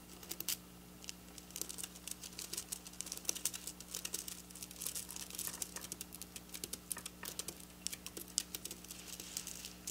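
Long black nails on both hands quickly scratch and tap silver sequin fabric resting on a counter. The result is a dense, bright patter of crisp crinkling clicks with no ring after each one, over a faint steady low hum.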